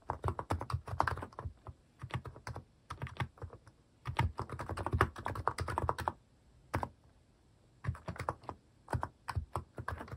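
Fingertips type quickly on a cream plastic mechanical keyboard fitted with plastic cat and paw keycaps. Bursts of short, dull, thocky keystrokes come in rapid runs separated by brief pauses. Each press is deep-toned with little brightness and stops almost at once.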